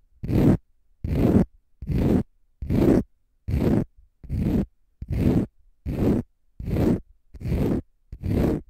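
A palm-sized, pale green konjac fiber facial sponge, solid and porous, is scratched with fingernails in 11 separate, evenly spaced strokes. Each stroke is a dense, raspy, zipper-like scrape with a strong low body that fades quickly between strokes.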